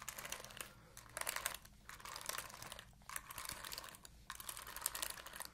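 Long nails scratch the bristles of an oval plastic paddle hairbrush with a purple galaxy back. The result is bright, crackly, fast scratching that comes in bursts separated by brief quieter pauses, with almost no low end.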